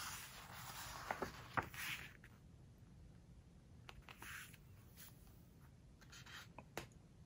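Hands turn a glossy page in an open book and rub it flat with their fingertips. The quiet, soft papery swishes and rubbing carry a bright hiss, broken by a few sharp little crinkles and ticks as the smooth page slides and presses down.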